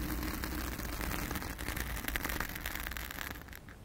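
Long acrylic nails scratch and rub a round, soft, porous blue foam windscreen over a microphone, using both hands. A dense, crackling scratch with a heavy low rumble underneath and brighter rustling bursts on top continues steadily, then fades slightly at the end.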